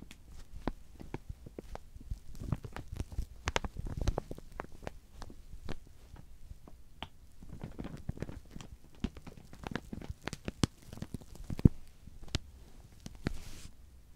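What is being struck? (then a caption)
Clear plastic sheeting over a rounded object. Fingertips of both hands rub and scratch clear plastic film wrapped over a large rounded object, making soft crinkles. The sound is a quiet, dense run of short, sharp crackles and ticks over a low rumbling rustle, with a few louder snaps toward the end.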